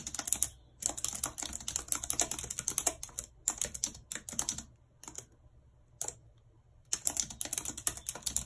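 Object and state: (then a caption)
Plastic computer keyboard being typed on. Long red nails type on the hollow plastic keys of a white plastic computer keyboard. Quick, bright clicking taps come in rapid bursts separated by short quiet pauses, each tap dying away almost instantly.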